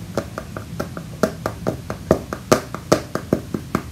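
A tablet held in the hand inside a rugged protective case with a black rubber frame and a tan hard plastic back is tapped and knocked on the back with fingertips. About 19 short, dry taps in a loosely steady rhythm, each with a hollow midrange knock and almost no ring.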